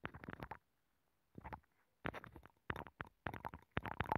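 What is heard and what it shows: A wooden stick scratches and taps inside a hollow abalone shell with a nacre interior, which is mounted on a microphone. Close, dry, rumbling bursts of rapid scraping and clicking come in clusters, separated by brief silences. The sound is low and muffled, with quick, non-ringing attacks.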